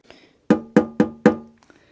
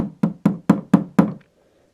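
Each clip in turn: First: resonant polystyrene cover. Second: non-resonant acrylic dust cover.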